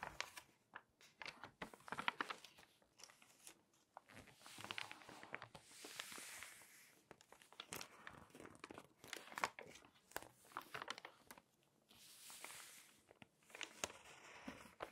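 Pages of an open glossy paper magazine are flipped while long nails rest on and rub the text pages. Quiet, crisp crinkles and sharp paper snaps come between soft, hissy swells of rubbing that reach high into the treble, with almost no low end.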